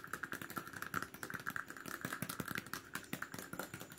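Fingers rapidly tap and scratch on a plastic cap as a fast ASMR trigger. About thirty quick, dry clicks come in an uneven stream over a faint scratching texture, each snapping off at once, with a hollow tone near 1.4 kHz.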